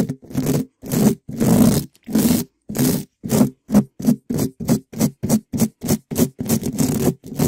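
A gloved hand rubs and scratches a black metal mesh microphone grille, a hollow dome, with a small yellow spiky rubber ball in quick strokes. Loud, separate bursts of rough scraping repeat at an uneven pace with a low, hollow body, each stopping abruptly with almost no ring.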